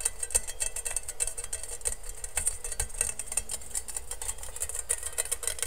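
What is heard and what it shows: Fingertips and nails quickly tap and scratch the perforated base of a medium, hollow, empty stainless steel colander held upside down near the mic. The result is a rapid, uneven stream of sharp metallic ticks with a bright, high ring that dies away almost at once, over a soft scratchy rustle and low rumble.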